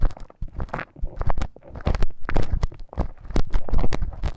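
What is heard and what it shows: A thin bamboo stick scratches inside the ear canal of a life-size soft silicone ear model. Dense, close crackling and scraping comes in quick irregular bursts, with short bright clicks over a muffled, low rumble.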